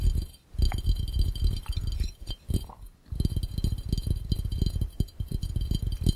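Fingertips tap rapidly on the curved glass of a hollow, empty glass fishbowl held over the lens. The result is a dense run of soft, dull, low-heavy taps, with faint high glassy ringing around 3.1 kHz above them. The tapping briefly pauses twice before it continues steadily.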